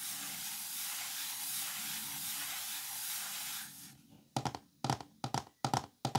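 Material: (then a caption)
Wood. A steady, bright hiss fills the first few seconds, then fades away. Fingertips tap and knock on the squares of an open, flat, thin green and cream wooden folding chess board, giving short, dry, woody clusters of knocks at an uneven pace.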